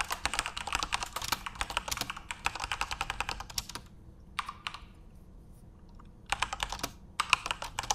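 Fingertips type on a full-size RGB-backlit Corsair mechanical keyboard with plastic keycaps, producing a fast run of sharp, bright clicks with almost no ring. The typing runs steadily for about four seconds, then drops to a few scattered keystrokes over a quiet pause before picking up again in short bursts near the end.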